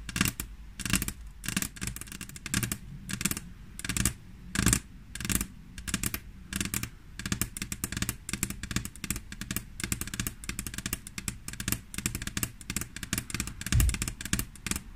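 Long fingernails on both hands tap quickly on a flat, solid glass tabletop. The sound is a dense, steady stream of sharp, bright clicks, each dying away almost at once, over a low hum.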